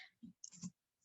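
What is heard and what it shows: Two quiet taps on a table, made to show that sound travels through a solid and can be heard from the other side with an ear against it. Each tap is a soft, dull knock, low around 190 Hz with a faint bright click, dying away almost at once.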